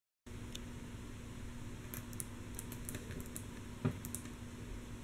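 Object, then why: Wooden table top. Long natural nails of both hands tap rhythmically and mostly softly on a flat, solid, light wooden tabletop, with one hand resting flat at the start. Faint, bright, quick clicks sit over a steady low hum, with one louder tap near the end. The taps stop short with no ring.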